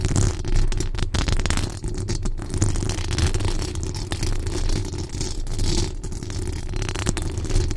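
Long acrylic nails scratch and tap the rounded metal mesh grille of a large condenser microphone with a decorated body, using both hands. The result is a dense, continuous rustling scrape with a heavy low rumble around 78 Hz, broken by quick, dry taps that die away almost instantly.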